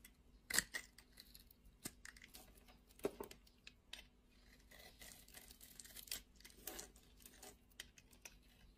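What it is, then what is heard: Soap bar being cut. A metal utility blade cuts and scrapes the patterned top of a solid rectangular blue-and-white striped soap bar held in the palm, sending flakes falling off. Irregular bright, crunchy scraping and tearing strokes rise from a quiet, close background.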